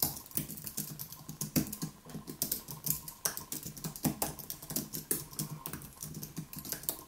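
Both hands tap rapidly with their fingertips on a white Apple Magic Keyboard, a plastic-key aluminium keyboard resting on a wooden desk. The result is a steady, irregular stream of short, crisp key clicks with a bright high tick over a soft low thump, each dying away almost instantly.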